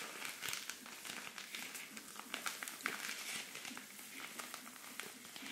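Fingernails scratch across a flat, medium-sized silver rhinestone-covered cosmetic pouch with a pink zipper edge, which looks empty. The result is a quiet, bright, crinkly scraping with sharp little clicks and ticks scattered throughout, and almost no low end.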